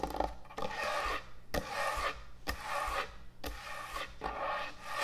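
Long nails tap and scratch quickly across the top of a large, thick, solid end-grain hardwood butcher block cutting board. Dry, rasping scratch strokes repeat at an uneven rhythm of roughly one per second, each opening with a sharp tap. A steady low hum runs underneath.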